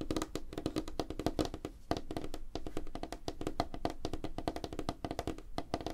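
Both hands tap rapidly with fingertips and short nails on a large, flat, solid light-wood tabletop, making a fast, continuous patter of short, dry knocks. Each tap carries a hollow woody tone around 316 Hz with a low thump beneath it and dies away almost instantly.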